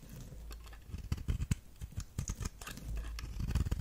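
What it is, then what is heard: Bar of soap being scraped with a knife. A knife blade is scraped repeatedly across the face of a solid red star-shaped soap. It makes a rapid series of short, crisp shaving strokes, each with a dry bright edge over a soft low body, and none of them ring on.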